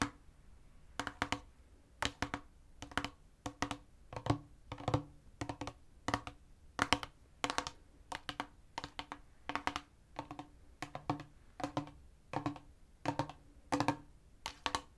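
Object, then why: Plastic spray bottle partly filled with liquid. Fingertips tap quickly on a medium-sized clear spray bottle with a silver pump head, partly filled with liquid and held in the other hand; it looks like plastic but could be glass. The taps come in short, rapid bursts of light, clicky knocks with a faint low tone that die away almost at once, separated by near-silence.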